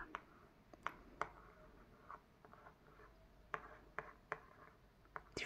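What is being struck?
Hardcover book cover traced with a pen tip.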